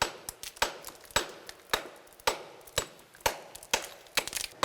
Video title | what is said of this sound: [Pick 사이언스] 대한민국 광물자원 위기 돌파! 자원 강국의 꿈 이룰 '압도적 K-기술' / YTN 사이언스 | 허물허물하고이 깨지는 소리도 다르지 않습니까? 예. 그게이 암석들의 강도 차이예요